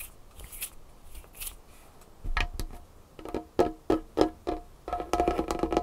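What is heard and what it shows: Long fingernails scratch and tap on a large, solid dark-wood tabletop. Soft, bright scratching strokes come first, then sharp, short knocks with a hollow woody tone. The clip ends in a run of fast, clustered tapping.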